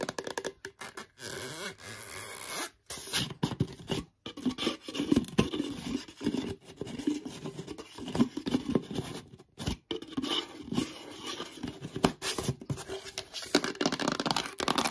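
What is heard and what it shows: A black, medium-sized, hollow plastic "Collagen Peptides" supplement tub, probably filled with powder, is held in both hands and quickly tapped and scratched with long yellow nails. The result is a fast, chaotic run of dry clicks, scrapes and rough scratching with a hollow low-mid body, broken by a few brief silent gaps.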